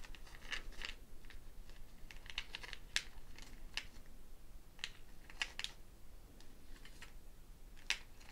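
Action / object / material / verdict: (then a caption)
shake / dried gourd shaker netted with wooden beads / gourd, wood / none. A hand-sized hollow dried gourd shekere, wrapped in a string net threaded with small wooden beads, is held in one hand and shaken while long painted nails scratch and rattle the beads against the gourd. Quiet, dry clicks and brittle rattles scatter irregularly over a soft, steady hiss. Each click snaps off almost instantly with a bright edge and no ring.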